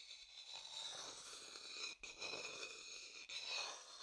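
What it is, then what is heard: Wooden bowl scraped inside. An empty, medium dark-brown hollow wooden bowl is scraped and rubbed inside with a wooden stick. The result is a steady, bright, hissy scraping with high whistling tones ringing from the bowl. The sound breaks off briefly twice before resuming.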